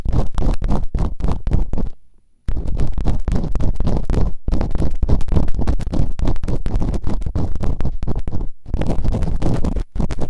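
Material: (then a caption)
Silicone. Bamboo earpicks, held in fingertips with long nails, quickly scratch and rub inside the open canals of both soft, solid rubbery silicone ear models on a white binaural microphone. The result is a dense run of rapid, muffled, low scratching and thumping strokes. It breaks off in short silences near 2 seconds and again near 8.5 and 10 seconds.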